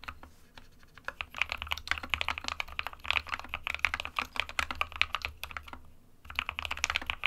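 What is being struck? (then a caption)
Plastic-cased mechanical keyboard. Fingertips of both hands type continuously on a small 60% SK61 mechanical keyboard with a white plastic case and plastic keycaps, resting on a desk mat. A dense stream of short, bright, clacky keystrokes with almost no low end briefly drops away near the six-second mark, then resumes at the same quick pace.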